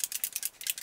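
A Maybelline Dream Nude Airfoam foam foundation aerosol can is shaken, as its instructions direct, so the mixing bead inside rattles like a hairspray can. About six quick, bright, dry clicks are heard, almost entirely high-pitched with no low end, as the bead moves normally to mix the foundation.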